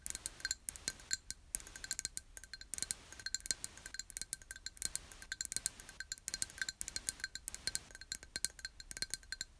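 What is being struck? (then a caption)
Small glass jar. Long nails tap rapidly on the sides of a small, empty, clear glass jar held in both hands. The result is a dense run of quick, bright clinks and ticks with very short ring and a steady high tone throughout.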